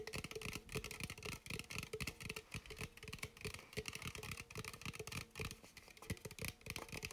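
A red bubly sparkling water aluminum can, held in hand, is tapped and scratched with fingertips and nails. Quick, dry taps with a hollow low thump and very short ring mix with a bright, scratchy rasp in a steady, busy rhythm.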